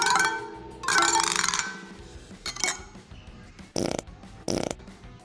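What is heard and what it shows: A tool taps the spokes of a steel motorcycle wheel to check their tension. Two bright ringing pings at the start give way to duller knocks and short, flat clacks with little ring, the sound of a bad spoke that is not tensioned enough.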